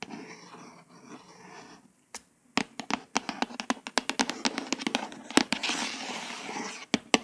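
A long nail tip scratches and traces the small print near the edge of a glossy, flat, solid hardcover paper book cover. Soft, steady scratching gives way after a brief near-silence to a rapid run of crisp, bright taps and clicks over a light scraping hiss. Each click stops dead with no ring.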